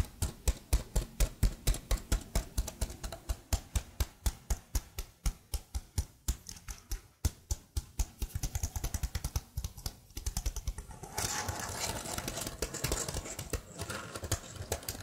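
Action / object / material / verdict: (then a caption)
tap / plastic laptop keyboard keys tapped with fingernails / plastic / none. Long blue nails tap and type on the keys of a plastic laptop keyboard held behind the mic. Steady, separate dull clicks with a low, thumpy body give way to faster typing. It builds to a denser, brighter clatter of keys near the end.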